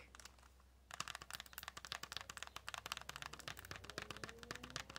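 A small flat retail pack of pink press-on nails (a clear plastic tray on a printed cardboard backing, sealed in crinkly cellophane) is held in both hands and scratched and tapped with long natural-colored nails. After a near-silent first second with a few faint ticks, a dense run of sharp, bright crinkling taps and scratches follows, each one short and dry. Faint squeaky tones rise beneath the taps near the end.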